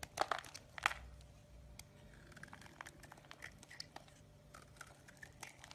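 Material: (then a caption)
Soap. A metal blade shaves the surface of a solid green bar of soap, and curls of soap fall away. A few sharp, crunchy scrapes come first, followed by a steady run of softer, bright, crinkly scratches.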